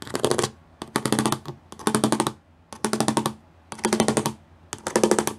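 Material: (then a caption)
Plastic. Long fingernails tap rapidly across a gray plastic studded sheet in six quick bursts separated by short pauses. Each burst is a dense run of crisp, bright clicks with a slight hollow tone, and each click dies away almost at once.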